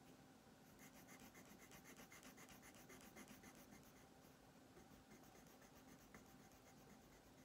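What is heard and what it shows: A colored pencil is rubbed steadily back and forth across a thin paper coloring page resting on a wooden tabletop, filling in a green armchair. Quiet, rapid scratchy strokes repeat throughout, with a faint steady low hum underneath.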